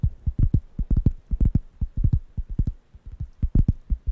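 Fingertips tap the surface of a large, thin, round, light-brown wooden coaster pad that is solid and flat and held in one hand near the microphones. A quick, uneven run of soft, dull, low thumps follows, each dying away almost at once with no bright edge.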